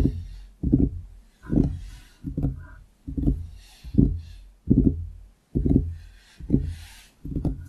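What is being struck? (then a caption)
Wooden desk surface. Fingertips of both hands tap on the surface of a large, solid wooden desktop around a foam-covered microphone. Soft, deep, hollow thuds come in roughly once-per-second bursts, each a quick flurry of taps. The bursts have a warm low body and short decays, with almost no bright content.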